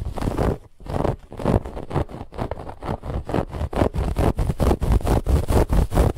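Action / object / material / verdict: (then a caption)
scrape / stuffed fabric pillow with woven texture / fabric / none. Long nails quickly scratch a soft, stuffed white fabric pillow with a woven textured band. The result is a fast, somewhat uneven run of rough, rasping strokes, weighted toward a low thumpy rumble with a bright hiss on top.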